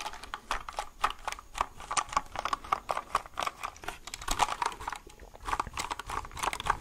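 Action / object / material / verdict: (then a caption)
tap / plastic mechanical keyboard underside / plastic / none. A white plastic mechanical keyboard is held upside down with its label showing while fingertips tap its hollow plastic underside. The result is a rapid, uneven run of dry, hollow taps centred around 850 Hz, each dying away almost instantly.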